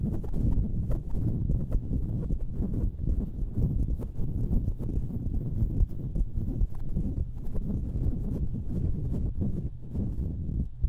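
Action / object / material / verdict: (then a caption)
scrape / metal mesh microphone grille scratched with fingernails / metal mesh / none. Long nails scratch across the hollow metal mesh grilles of two identical stereo microphones. The result is a dense, continuous run of rapid, dry scraping ticks, heavy in low boomy rumble with almost no bright top. The level stays steady throughout.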